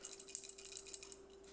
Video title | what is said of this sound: Replacing the Start Relay to Fix My Deep Freezer | upon shaking it, there's a very large amount of rattling sound